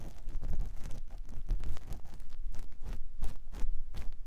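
A clear silicone ear pick with a yellow handle scratches inside the canal of a white silicone ear on a binaural microphone block. Close, dull rubbing and scraping strokes come in quick, uneven bursts, mostly low thuds with brief brighter rustling edges. The scratching continues steadily throughout.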